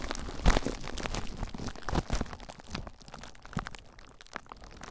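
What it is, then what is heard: Plastic bubble wrap being squeezed and scratched. Clear plastic bubble wrap wrapped around a recorder is squeezed by fingers, then scratched with fingertips. Dense, close crinkling and crunching fills the clip, with a few louder crackles standing out early and later on. The texture turns softer and sparser toward the end.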